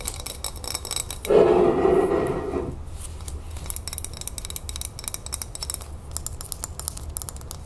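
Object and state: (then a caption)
Glass salsa jar. Long nails tap quickly and scratch on the glass sides and label of a full glass jar of salsa verde with a metal lid. A steady stream of light, clicky taps runs throughout, broken by a louder, lower scratching rub from about 1.3 to 2.8 seconds.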